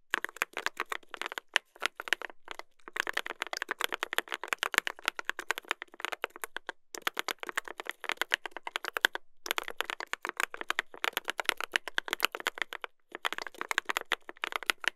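Two hands type continuously with their fingertips on a mechanical keyboard with a brass plate and plastic keycaps. A rapid stream of short, sharp clacks rings mostly in the upper-mid range, with a bright edge and almost no low end. The typing breaks off in a few brief pauses before resuming.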